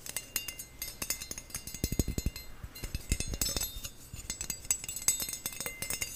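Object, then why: Perforated stainless steel skimmer spoon. Fingernails rapidly tap and scratch across the perforated surface of a stainless steel skimmer spoon with a thin, flat bowl and a handle. The result is a dense run of quick, bright metallic clicks and clinks with very short ring, plus bursts of low, dull thumps.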